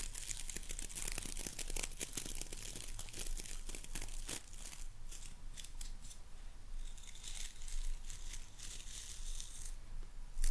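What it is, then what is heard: Boar bristle hairbrush with wooden handle. Long nails scratch and rake across the dark boar bristles of a wooden-handled hairbrush. The result is a dense, continuous crackle of bright, dry scratching with fast bristly strokes over a steady low hum. It holds a fairly even level throughout.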